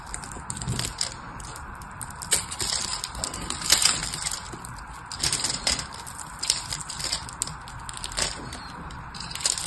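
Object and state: Bar soap being carved.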